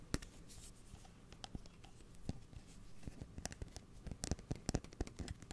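A steel kitchen scissor blade, held upright near the mic, is scratched and tapped with fingernails. Quick, sharp clicking taps with bright edges sound over a low, rough scratching background, each tap dying away almost at once.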